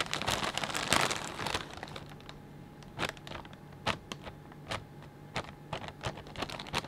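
A hand grabs and crumples a clear plastic bag full of potato chips. A dense burst of bright crinkling fills the first two seconds, then it thins to scattered sharp crackles and crunches at an uneven pace.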